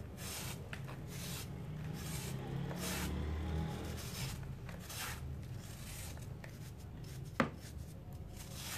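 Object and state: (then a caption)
Dry cement disc scraped. A steel knife blade scrapes and shaves powdery layers from a palm-sized solid round disc of dry grey cement held in a hand over a basin. Steady, dry rasping strokes carry a low rumble underneath with bright gritty swishes on top, and a single sharp click stands out near the end.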